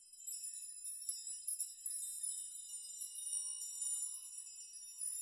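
Both hands brush and rock the many thin hanging metal rods, or nails, on both sides of a metal nail chime so they strike each other. The result is a continuous, quiet, bright tinkling jingle with a steady shimmer of overlapping high ringing tones and no low end.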